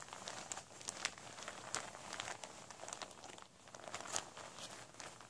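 Hands in white rubber gloves gather, crumple and scrunch a large, thin, flexible vinyl tablecloth with a blue fish print, lying flat on a surface, into folds. A steady, bright crinkling runs throughout, punctuated by sharp, quick crackles with almost no low end.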